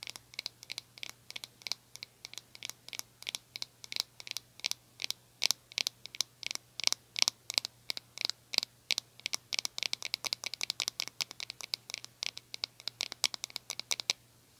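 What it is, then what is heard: Small plastic hairbrush. Long nails tap and scratch the hollow plastic back and sides of a small glossy pink plastic hairbrush. About 77 quick, crisp clicks follow one another with almost no ring, bright and high-pitched over a faint steady low hum.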